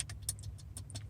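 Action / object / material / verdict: shake / plastic dash trim panel with screws / plastic / loose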